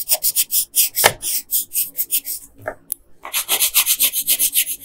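A yellow colored pencil scratches and rubs back and forth over the hair area of a flat paper coloring page. About 19 quick, bright, hissing strokes repeat at a brisk, uneven pace, with a short pause just before the three-second mark before the strokes resume.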